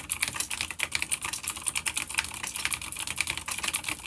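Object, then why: Plastic mechanical keyboard with clicky switches. A full-size dark grey plastic vintage mechanical keyboard with grey and dark keycaps, an older B-grade unit with clicky blue switches, sits on a wooden desk and is typed on rapidly with the fingertips of both hands. Fast, bright, crisp clicks and clacks come in a dense, continuous stream with very little low end, and each keystroke stops almost instantly.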